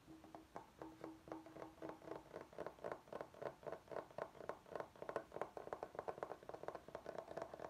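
Fingertips and short nails tap and scratch the face of a large, flat, solid bamboo chopping board held upright. The result is a quick, loosely irregular run of soft, dry, hollow knocks with a light woody tone around 600 Hz and almost no ring, mixed with faint scratching, at a quiet level.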